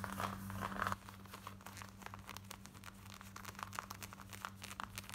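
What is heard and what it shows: Long nails scratch fast across the front and hip of worn black denim jeans, making dense, bright, rapid scratching and crinkling with a steady low hum beneath. The first second is louder, then the scratching continues more softly to the end.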